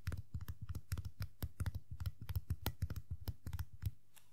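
Long nails and fingertips rapidly tap the black top hat of a small hollow vinyl Funko POP Tuxedo Mask figure. The result is a quick, uneven run of soft, dull taps with a low hollow thump near 100 Hz and faint bright clicks. Each tap dies away almost at once, and the clip ends in near silence.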